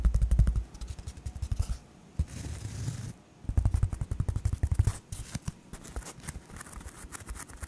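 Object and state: Polyethylene foam sheet scratched.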